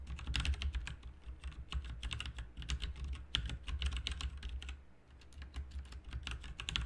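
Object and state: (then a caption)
Mechanical keyboard being typed on. Both hands' fingertips type continuously on a full-size backlit plastic mechanical RGB computer keyboard, with plastic keycaps on a hollow plastic/metal case. Quick, bright clacking keystrokes roll over a steady low hum, with a brief lull near the five-second mark before the typing picks up again.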